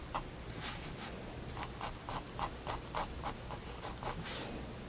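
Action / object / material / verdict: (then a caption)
scrape / pen nib on sketchbook paper / paper / none. A pigment liner pen tip makes short hatching strokes on a page of a spiral-bound white paper sketchbook resting on a wooden desk. A quick, somewhat uneven series of dry scratches sounds, each with a scratchy midrange tone near 1 kHz and bright, hissy edges over a low background rumble.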